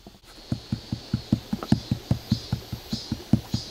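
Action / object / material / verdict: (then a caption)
knock / outdoor wooden stick sculpture / wood / none. Knuckles or a hand rap steadily on outdoor wood, apparently a giant wooden sculpture made of sticks, in a quick, even series of dull, low knocks. Each knock is short and dry, with little ring after it.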